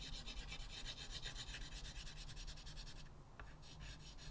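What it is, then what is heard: Chalk drawn on a chalkboard. Fingertips rub and scratch a white chalk stub in short, rapid repeated strokes across a flat blackboard in a wooden frame. The result is a dry, bright, raspy scraping over a steady low hum. The strokes break off briefly after about three seconds with a single tick, then resume.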